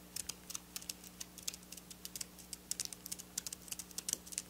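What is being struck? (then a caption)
Sequin fabric tapped with long fingernails. Long black nail tips tap and scratch silver sequin fabric lying on a table. A quick, uneven run of about two dozen short, bright, crisp clicks stops instantly with no ring, over a faint steady low hum.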